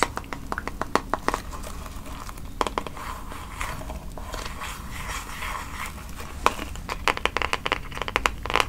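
A handheld pink plastic paddle hairbrush with plastic bristles is scratched across the bristles by fingertips and nails, then its smooth pink back is tapped and scratched. Many sharp, dry clicks and crackly scratches ring out in clusters over a soft, steady low rumble, bunched at the start and again near the end.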